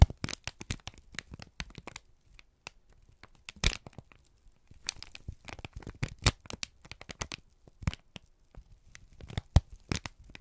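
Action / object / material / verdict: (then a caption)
scrape / kraft paper sheet / paper / none. A wrinkled strip of brown kraft paper is squeezed and crinkled by both hands. Bursts of sharp, dry crackles and crinkles come in irregular clusters, separated by brief quiet gaps, with a few louder snaps standing out.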